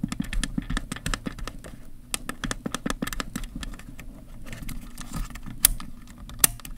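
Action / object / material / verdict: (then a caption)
tap / plastic DSLR camera body / plastic / none. Fingertips press and click the rear buttons and directional pad on the back of a black plastic Canon EOS 1000D camera body and tap its casing. The result is a rapid, irregular series of short, dry plastic clicks and taps over a steady low hum, with two sharper, brighter clicks near the end.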